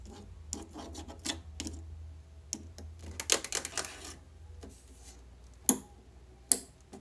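Long yellow acrylic nails tap and scratch across the rows of black plastic letters and the frame of a small, hollow-looking grey plastic light box sign standing on a windowsill. Bright, dry clicks and rasping scrapes come over a faint low hum, which fades partway through. Two sharp, louder taps near the end stop quickly.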